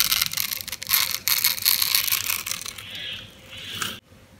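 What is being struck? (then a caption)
Soap bar cut with a metal knife. A metal knife slices cubes off a green, oval, solid dry soap bar with a grid-cut surface, held in the hand. Bright, crunchy crackling and scraping comes in quick, uneven bursts, then eases into a smoother, steadier scrape. The sound stops abruptly near the end.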